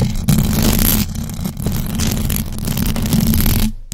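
Long acrylic nails on both hands scratch fast across the hollow metal mesh grille of a large black USB microphone, with no cover over it. The result is a loud, continuous, dense scratching roar dominated by heavy low rumble, with a bright hiss on top. It drops out briefly twice before fading near the end.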